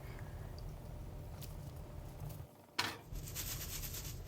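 Golden-brown fried cabbage and gram flour pakoras, fried on both sides and resting in a strainer, are handled against a low background rumble. After a brief hush, a sharp crisp crack is followed by bright, airy crackling. The pakoras sound crispy.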